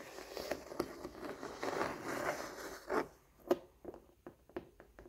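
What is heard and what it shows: Fingernails scratch and tap across a red and yellow floral painting on canvas with raised acrylic texture. A dry, crackly scraping runs for about three seconds, then gives way to a series of short, sharp taps with quiet gaps between them.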